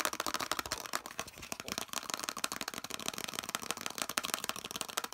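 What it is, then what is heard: Hollow plastic piece, tapped and scratched. Fingertips and nails rapidly tap and scratch a hand-sized, hollow, molded yellow plastic piece with a central ridge. The result is a fast, continuous stream of dry, bright clicks and scrapes with almost no low end, each tap dying away almost instantly.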